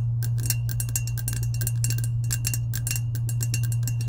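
Long acrylic nails tap quickly and unevenly on the coated side of a medium lilac, hollow, insulated powder-coated stainless steel tumbler. The taps are bright, crisp clicks, with a faint steady ring near 2.8 kHz. A constant low hum runs underneath.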